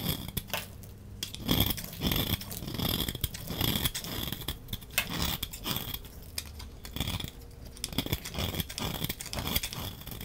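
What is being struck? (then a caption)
Soap bar scraped with a knife blade. A utility knife blade scrapes powdery dry shavings off the surface of a solid rectangular teal soap bar with white marbling, held in hand. The clip is a steady run of dense, crisp scraping and crackling strokes with bright, gritty highs and soft low thuds, rising and falling in short bursts throughout.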